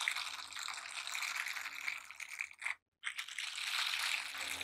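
Worn silicone scrubber gloves: one gloved hand rubs and presses over the bristled palm and back of the other, making a steady bright, hissy, crackling scrape. The sound drops briefly to near silence just before the three-second mark, then the rubbing picks back up.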